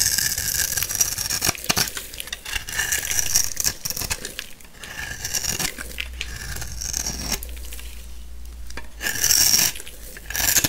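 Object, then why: Soap bar scraped with a knife blade. A black utility knife blade shaves and scrapes thin layers off the edge of a new, solid, hand-sized orange soap bar with an embossed top, held in one hand, leaving grated soap shavings. The cutting makes a steady, bright, crisp crackling scrape with dense fine ticks and little low end. It swells louder in short bursts near the end.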